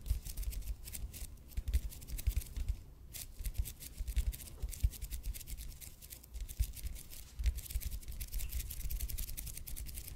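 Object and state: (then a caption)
EPP foam roller. Fingernails quickly scratch the surface of a red and white speckled expanded polypropylene foam roller held in both hands. The result is a dense run of bright, crackly scratches over a soft, low rumbling thump, with the scratching continuing steadily throughout.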